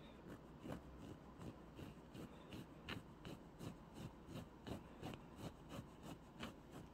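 Fingertips rub and scratch over a large, soft, stuffed light-blue plush toy made of furry polyester fabric, with felt eye patches and an embroidered mouth. The result is a quiet, steady run of soft, scratchy brushing strokes at a fairly regular pace, each a short airy swish with a bright hiss over a low, muffled rumble.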